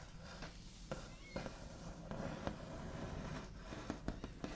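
The backs of fingernails scratch, tap and trace across a wooden table. A quiet, steady scratchy rustle runs throughout. Sharp taps cut through it, with a few clustered near the end.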